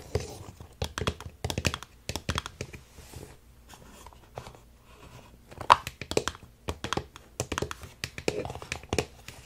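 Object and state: Hollow hard-plastic toy.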